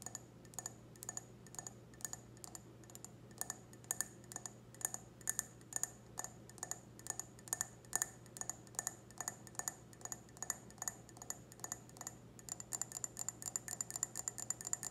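Long red nails tap the foot and stem of an empty clear wine glass held on its side. Quick, light glassy ticks with a bright high ring sound in a steady rhythm over a faint low hum, growing faster and denser near the end.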